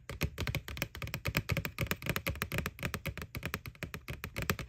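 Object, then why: Plastic candy bucket. Long nails tap quickly and continuously on the side wall of a small hollow white plastic ghost Halloween candy bucket from McDonald's, near its McBoo label. Each tap gives a short, dry click with a hollow low body and a bright edge that dies away almost at once.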